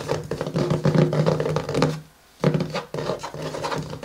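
Fingertips and nails of both hands tap and scratch the matte cardboard cover of a closed pink paper-covered hardcover journal lying flat on a table. The result is a dense run of soft, low, hollow taps mixed with dry scratching, with a brief quiet gap near the middle before it picks up again.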